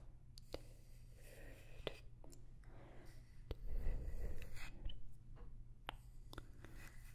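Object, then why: Small wooden block tapped with nails. A small, light wooden block is held close to the mic and tapped with long nails, giving short, dry clicks over a faint low hum. The taps come at an irregular pace, with a busier, slightly louder stretch of soft tapping and rustling in the middle.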